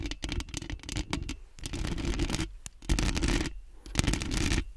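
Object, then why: Metal mesh microphone grille. Long nails on both hands quickly scratch the metal mesh grille of a large, round, hollow microphone. Fast, rough, bright scratching comes in dense bursts separated by brief pauses, with a boomy low-end thump under each flurry.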